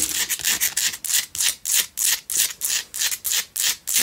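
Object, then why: Rock-salt lamp scratched with fingernails. Long fingernails scratch rapidly across the rough top of a small, lit Himalayan rock-salt lamp held in the hands. The result is a steady run of bright, dry rasping strokes, roughly three per second, each a short burst of high hiss with almost no low end.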